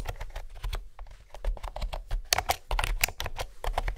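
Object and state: Plastic keyboard with hollow-sounding round keys.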